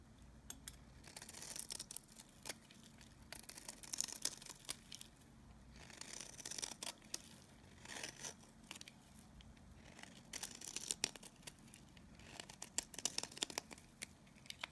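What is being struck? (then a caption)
Bar of soap. A solid, dry oval bar of Nevskaya Kosmetika soap, held in the palm, is scraped with a utility blade so shavings peel off. The result is quiet, bright, dry scraping and crinkly tearing strokes in irregular bursts. There is almost no low end and no ring after each stroke.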